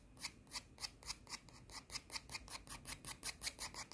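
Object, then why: Emery nail file. A thin, solid emery nail file with an abrasive surface is held in one hand and scratched and rubbed with the long nails of the other hand. It makes a steady run of short, bright, raspy scratches, about four per second, with a quiet high hiss between strokes.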